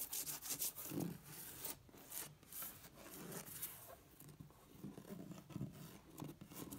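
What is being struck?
Embossed vinyl wallpaper on a flat wall.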